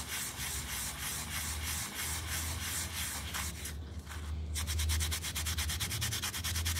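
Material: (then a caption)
Carpet pile. A small, round, soapy and foamy miniature pile rug on a tile floor is held by fingers and scrubbed with a yellow toothbrush. Bright, rhythmic brushing strokes play over a steady low hum, pausing briefly near the middle and then speeding up into quicker, denser scrubbing toward the end.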